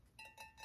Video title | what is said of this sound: I Filled 3 Boxes For $120 At This AMAZING Rummage Sale! | it sort of sounds like metal it sort of sounds like pottery